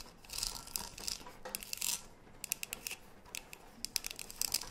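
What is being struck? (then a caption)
Metal tea tin tapped and scratched with fingernails. Long nails scratch and tap the printed side of a tall green metal tea tin with a gold lid, held upright and closed. Bright, dry scraping swells come first, followed by a string of quick, sharp taps that stop almost instantly, all high and thin with very little low end.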